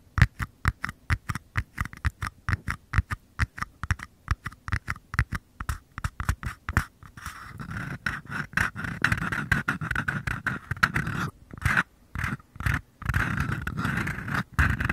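Short nails tap and scratch two identical small, empty, hollow paper cups held near the microphone. For the first seven seconds, quick, uneven taps land as separate dry, hollow knocks with a low thump and a papery click. The rest turns to a continuous rustling scrape with brief gaps and a few taps mixed in.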